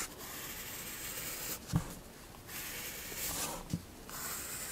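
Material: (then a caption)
Paper. A graphite pencil held in one hand draws fine detail strokes on the right side of a picture in a spiral paper sketchbook resting on a wooden desk. Light, bright scratching hiss comes in short bursts of strokes, broken by brief soft taps as the pencil meets the page.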